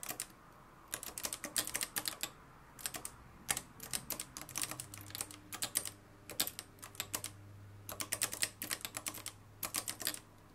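Fingertips type continuously on the dark plastic keys of a mustard-yellow, plastic-cased manual typewriter with a metal mechanism. Bursts of sharp, bright clacks come in quick runs separated by short pauses, each strike dying away almost instantly. A faint, steady low hum sits underneath.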